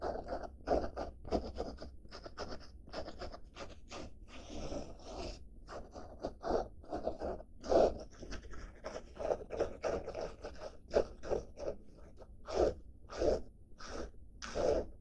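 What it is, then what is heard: Denim fabric bag. A padded blue denim-fabric bag is held upright while its fabric surface is scratched and rubbed with fingertips and nails. The result is a steady run of short, dry scratching strokes with a soft midrange rasp and faint bright edges, rising and falling over a low background hum.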